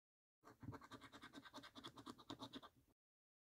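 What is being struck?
Paper lottery scratch card scratched with a coin.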